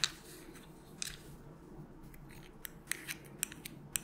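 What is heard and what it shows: Long nails tap a small white plastic melatonin bottle with a purple cap, hollow with tablets inside, while it is moved around. Nine sharp, bright clicks ring out over a soft, steady background hiss.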